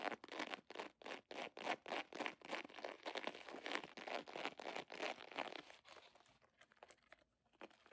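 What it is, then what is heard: Crinkled plastic foil pouch. An iridescent holographic plastic foil pouch with a scale pattern is crinkled and scratched with fingers and long nails in dim light. Fast, bright crackling bursts come in a quick, uneven rhythm for about six seconds, then thin out into quieter, sparse scratches.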